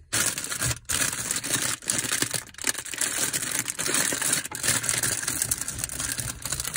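A packaged curry bread bun in a crinkly printed plastic wrapper is held in the hand and squeezed and scratched with fingers and nails. The result is a dense, continuous, bright crinkling and scratching texture with a little low thump underneath, broken by a few brief pauses.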